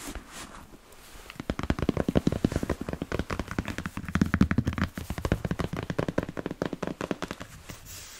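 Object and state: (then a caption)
Leather boot tapped. A smooth black leather Chelsea boot, held upright and empty, is tapped and scratched on its leather upper with fingertips and nails. A rapid run of dull, low, soft taps with short scratchy brushes rises after a quiet start and fades near the end.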